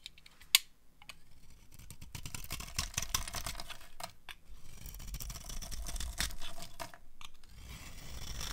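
A metal knife blade scrapes and shaves the gold painted surface off a solid rectangular bar of dry white soap stamped IVORY, held in one hand, exposing the white soap underneath. A sharp click near the start is followed by steady, crunchy scraping with a bright, gritty texture that swells and fades as the blade works across the bar.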